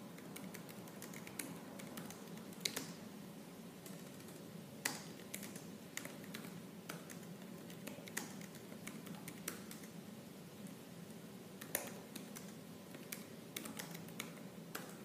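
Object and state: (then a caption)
Laptop plastic keyboard being typed on. Fingertips with purple nails type quickly and forcefully on the black plastic keys of a silver laptop keyboard. A steady stream of short, dry, bright clicks with no ring plays over a quiet, constant low hum, with occasional sharper key strikes standing out.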